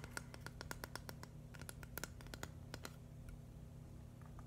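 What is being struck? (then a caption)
Flat plastic brick mosaic. Fingernails rapidly tap and scratch a flat, hand-sized green and white mushroom mosaic built from plastic LEGO bricks. The result is a quick run of sharp, dry clicks with a faint ping near 1.4 kHz over a steady low hum, thinning to softer scratches toward the end.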